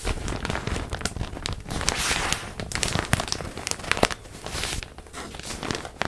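A large printed plastic zip bag holding a stuffed pillow is held close and crinkled and rubbed with hands and nails. Dense, continuous crinkling and crackling fills the clip, with sharp bright snaps over a soft low rustle that swells and fades through the six seconds.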